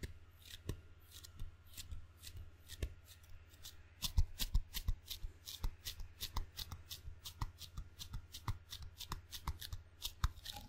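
Open fingers pat and peel quickly on the sticky black rubber face of a wooden ping pong paddle held by its handle. Dozens of short, dry, bright taps and peeling ticks come in an uneven, rapid rhythm over a steady low hum, and they grow slightly louder partway through.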